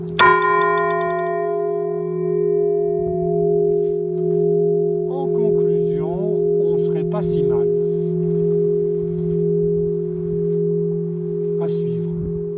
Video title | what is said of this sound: Projet HdA : Réglage du marteau à frappe relâchée. | la bonne nouvelle, c'est que ça sonne à partir de 6